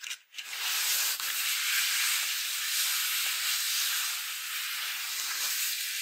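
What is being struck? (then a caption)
Paper greeting card. Long acrylic nails scratch across a Halloween paper greeting card with a folded-paper pumpkin, on the cover and inside. A few brief scrapes and a short pause give way to a steady, bright, hissing rasp that continues for several seconds with almost no low end.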